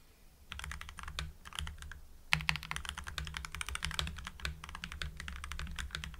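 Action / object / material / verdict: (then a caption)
tap / mechanical keyboard with plastic keycaps / plastic / none. Both hands type rapidly on a full-size mechanical keyboard with lubed Gateron Yellow linear switches, white PBT cherry-profile keycaps and a blue backlight, resting on a desk. The result is a fast, steady stream of short, bright, poppy keystrokes that die away almost instantly, with a louder burst of keys partway through over a constant low hum.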